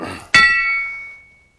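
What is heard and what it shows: A four-pound hammer strikes a steel wheel stud being installed in the left rear axle hub of a 2000 Astro. One sharp hit gives a bright, bell-like ding that rings near 1.9 kHz for about half a second. That ring marks a stud fully seated all the way down.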